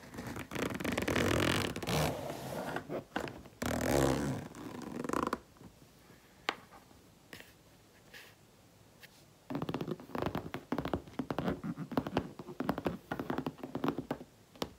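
Long painted nails scratch and tap across the top of a hollow, light grey textured faux leather handbag lying flat on its side on a table, after a hand briefly holds the zipper end. Dense, raspy scratching comes in loud bursts for the first five seconds, followed by a quieter stretch of sparse, sharp taps. Rapid scratching and tapping then returns until the end.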